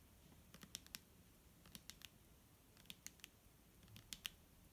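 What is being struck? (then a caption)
Plastic bottle of liquid. A clear, hollow plastic micellar water bottle with liquid inside is held in the hand and tapped with long nails. The taps are quiet, sharp, bright clicks with almost no ring, coming in small irregular clusters over a soft low background rumble.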